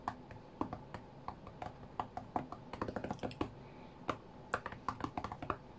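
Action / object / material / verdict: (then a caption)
tap / glass touchscreen tablet / glass / none. Fingertips rapidly tap and slide on the glass touchscreen of a flat white iPad lying on a mat. Quick, dry taps in an uneven, rhythmic stream, each with a short mid-pitched click that dies away almost at once, over a faint steady hiss.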